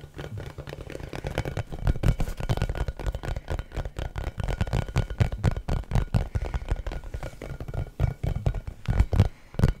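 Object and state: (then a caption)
Rubber basketball. An orange, pebbled, hollow and inflated rubber basketball is held close to the microphone and tapped and scratched with the fingertips. The result is a steady stream of quick, dull, low thumps that die away almost instantly, mixed with soft scratchy rustling, with a few louder taps near the end.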